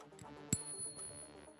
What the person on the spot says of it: That's the sound of real money. That was a silver ping test.